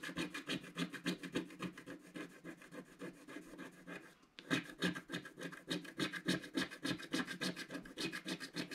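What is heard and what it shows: A wooden stylus scratches rapid strokes into the centre of a black-coated scratch-art card in a book. It makes a steady run of dry, raspy scraping strokes, about three or four a second, with a brief pause just past the midpoint before the strokes resume and grow slightly louder.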